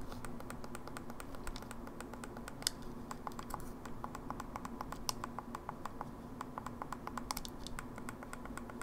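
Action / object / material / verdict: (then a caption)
tap / plastic handheld game console / plastic / none. Long nails rapidly tap and press the face buttons and D-pad of an open, small, hollow silver plastic Game Boy Advance SP handheld game console. The result is a quick, irregular stream of light, dry, bright clicks that stop almost instantly, over a steady low background hum.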